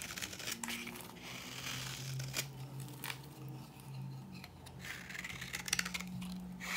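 A metal blade scrapes across a dry, old, solid cream bar soap that has worn thinner, shaving it into crunchy flakes and powder. Bright, gritty scraping and crinkly crunching carry over a steady low hum, with a few sharper scrapes standing out near the end.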